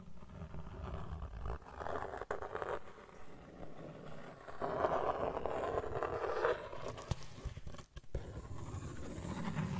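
A thin, solid, flat brown cardboard sheet is held up close to the mic while fingertips and nails scratch and rub across its surface. The result is a dry, papery scratching and rustling with a low, rumbly body. It swells into denser, louder bursts of scratching and breaks off in brief pauses.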